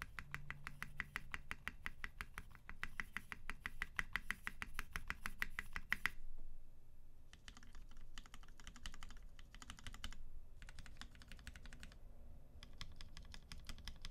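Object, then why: Mechanical keyboard with PBT keycaps and aluminium case. A UTD 360C tenkeyless mechanical keyboard in a gummy-worm mount, with a silver aluminum case, white PBT keycaps and Vintage Black switches lubed with 205g0 and filmed, is typed on with one hand's fingertips, moving from the spacebar to the left modifier and shift keys. For the first six seconds, rapid, steady keystrokes give short, crisp clacks over a deep, low thock. These are followed by quieter, separated bursts of keypresses with brief pauses between them.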